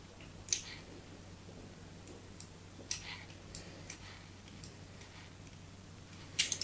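A solid white soap bar with crosshatch cuts, held in the hand, is scored further with a metal blade. Brief, bright, crisp scraping clicks sound at irregular intervals, the sharpest near the start and the end, over a faint steady low hum. Each cut snaps off quickly with almost no ring.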